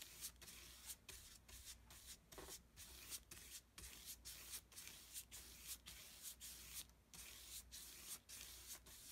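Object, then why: Flat brush on thick paper sheet. A wide synthetic-bristle flat brush is rubbed back and forth across a large flat sheet of thick white mixed-media paper lying on a table, spreading wet pink and peach acrylic paint. Each stroke makes a soft, bright, hissing swish, repeating in a steady rhythm with brief quiet gaps between them.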